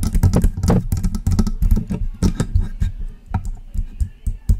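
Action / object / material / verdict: tap / metal USB microphone / metal / none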